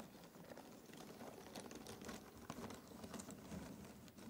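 Bare fingertips rake and stir through a large pile of small, thin cardboard jigsaw puzzle pieces in an open cardboard box. The result is a quiet, continuous rustling and shuffling, with dense, overlapping soft clicks and clatters as the pieces slide and tumble against each other.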